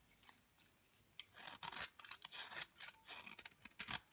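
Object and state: Dry bar soap scraped with a blade.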